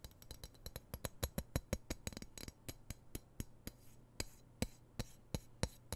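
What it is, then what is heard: Steel knife blade. Fingertips and nails tap and scratch along the flat of a large, solid, dark-coated steel knife blade held in one hand close to the mic. About 26 short, sharp clicky taps come in an uneven rhythm, each with a bright edge and almost no ring, over a faint low hum and soft scratching between hits.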